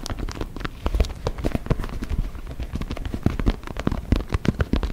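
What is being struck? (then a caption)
Inflated synthetic leather soccer ball. Fingertips and nails tap and scratch the synthetic leather skin of an inflated, hollow white and orange soccer ball held close against the microphone. A steady stream of quick, dry taps with deep, boomy low thuds mixes with faint crackly scratching, each hit dying away almost instantly.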